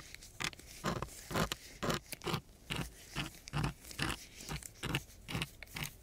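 A wooden stick held in a gloved hand scratches across a coarse brown sandpaper sheet. It makes a quick run of rough, gritty rasping strokes at a steady back-and-forth pace. Each stroke is a short crunchy burst with a bright hiss on top and a soft low body underneath.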